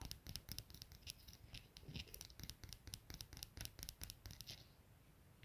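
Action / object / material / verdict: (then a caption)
tap / small brass padlock with steel shackle / brass / none. Long nails tap and scratch the steel shackle and brass body of a small solid brass padlock resting on a plaid blanket. The result is a quick, dense run of bright, short clicks and scratchy rasps over a soft low rustle, which thins into quieter scratching near the end.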